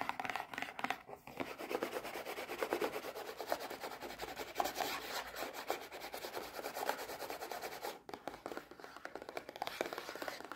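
A small printed cardboard Kinder Joy box, hollow and still holding its eggs, is held in the hands and turned between them while long red-painted nails tap and scratch it. The result is a steady run of quick, light, dry taps and scratchy rustles, with a brief quieter gap near the end.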